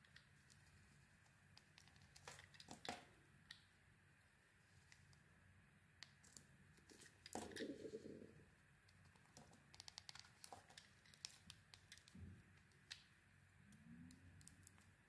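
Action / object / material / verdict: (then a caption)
scrape / soap bar scraped with a metal blade / soap / none. A metal utility-knife blade scrapes and shaves thin curls off a plain white, solid, hand-sized oval bar of soap held in a hand with long red nails, carving its face flat. Quiet, irregular crisp scraping and crackling clicks sound throughout, with a few louder, fuller shaving strokes standing out.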